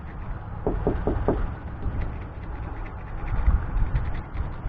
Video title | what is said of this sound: Front Porch Repair- Digging out the Wood Rot | Hear that hollow sound?